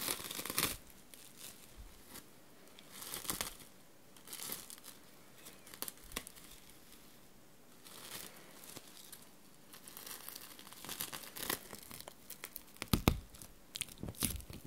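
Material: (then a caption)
Plastic film. A large, thin, clear sheet of plastic cling film, empty and loose, is held up in both hands and crinkled and crumpled with the fingers close to the recorder. Bursts of bright, crackling rustle come and go with quiet pauses between them, and the sharpest, loudest crackles arrive near the end.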